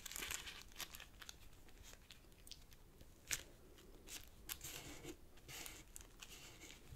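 Fingertips crease and press the folds of a small folded purple origami paper sheet resting on a black cloth table. Soft, bright crinkling and crackling rustles come in quick bursts, with one sharper paper snap midway through the quiet clip.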